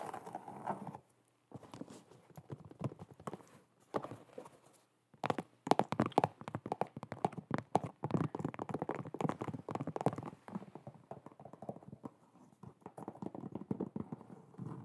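Long nails tap and scratch on the leather upper of an empty black and white leather low-top sneaker held close to the mic. The result is quick, dull clicks and soft scraping in dense bursts, with short pauses near the first and fifth seconds.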